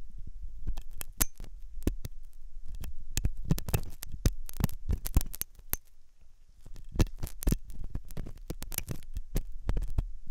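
A metal dental pick scrapes and scratches inside the hollow ear canal of a white, soft silicone ear on a binaural microphone. The result is a dense run of close, muffled, low thumping scrapes with short bright clicks, and a brief quieter pause near the middle.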